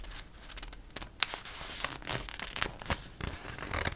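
A hand sweeps and rubs across the pages of a glossy paper catalog, and a page is turned. The result is quiet, bright rustling and swishing, broken by short crisp crinkles and snaps of the paper.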